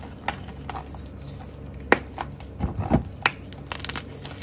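A small solid block of purple and pastel dyed gym chalk (magnesium carbonate) is squeezed and crumbled by bare fingers over a pile of chalk powder, giving soft, dry crunching and crinkling with a few sharp, bright snaps at irregular moments. The block breaks apart into chunks and powder.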